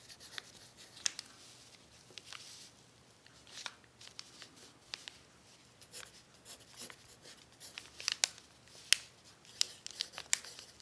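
A hand writes with an orange pencil on a thin, crumpled sheet of brown kraft paper lying flat. The result is quiet, bright, papery scratching and crinkling, broken by irregular sharp ticks and rustles that die away almost instantly, with no low end.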